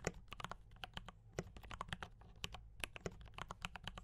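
Fingertips type on a D84 mechanical keyboard with brown switches and cream and red plastic keycaps. A quick run of about 26 short, sharp clacks is heard, each with a bright click and a low body thump and almost no ring. The keys sound crisp and dry over a faint low hum.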